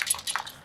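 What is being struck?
Bottle of ink with a mixing ball.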